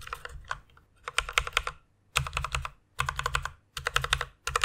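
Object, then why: Plastic mechanical keyboard. A white plastic mechanical keyboard with a pink backlight is typed on quickly with fingertips and long nails. Bright, clacky keystrokes come in rapid bursts separated by short pauses, each with a short, dry decay over a soft low thump.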